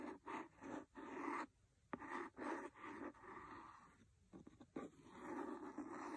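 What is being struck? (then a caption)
Cloth-covered hardcover book. A large, solid, red cloth-covered hardcover book is scratched and tapped on its cover with a wooden pencil. Soft rasping scratches come in bursts, broken by sharp, short taps. The sound is quiet and mid-pitched, with little low end or high brightness.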